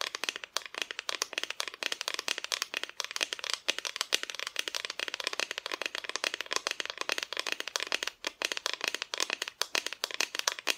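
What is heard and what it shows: Long fingernails tap quickly across the painted front of a flat, solid, painted wooden Christmas decoration cutout held by its side pieces. The result is a dense stream of dry, bright clicks that stop instantly, with almost no low end and no ringing.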